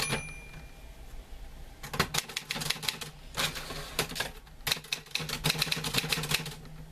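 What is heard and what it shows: Fingertips type on the keys of a green-grey metal portable manual typewriter with paper loaded. After a quiet opening with a low steady hum, bursts of sharp, bright key strikes clack in quick clusters, with short pauses between runs of typing.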